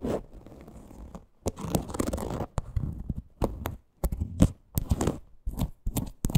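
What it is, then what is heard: Faux leather purse being scratched. Long green nails scratch and tap a small teal faux leather crossbody purse with a stitched parrot appliqué. The sound is a series of short, dull, low-heavy scratching and tapping bursts with brief pauses between them, and each bursts fades quickly with little ring.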